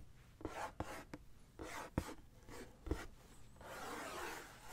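Fingertips and nails scratch and trace over the printed logo on a green Nike SB cardboard shoebox lid held up on its hollow box. Short, dry scratchy strokes alternate with six sharp taps that give a brief hollow low thump. The clip ends in a longer, brighter stretch of continuous rubbing across the cardboard.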